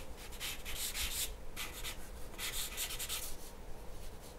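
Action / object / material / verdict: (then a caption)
scrape / graphite pencil on a paper drawing sheet / paper / none. A graphite pencil shades in strokes across a large, flat white paper sheet resting on a wooden table. It makes scratchy, rubbing bursts of bright hiss that come and go over a low, steady background rumble.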